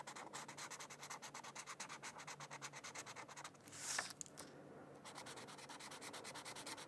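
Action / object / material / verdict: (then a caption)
scrape / felt-tip marker on paper / paper / none. A felt-tip marker scratches and rubs back and forth across the edge area of a thin white paper mandala coloring sheet lying on a book. It makes rapid, rhythmic, bright scratchy strokes, broken near the middle by a brief pause, a louder sweeping rub, and a quieter stretch before the steady strokes resume.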